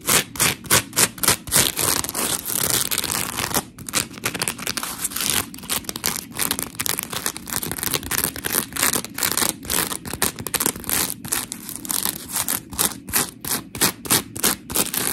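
Long pink nails scratch and grip the surface of a dry, white, hand-sized smiley-face scrub sponge made of coarse, porous polymer foam. The result is a fast, uneven run of short, gritty scratches, about three per second. Each is a bright, crackly burst that stops almost instantly, with little low end.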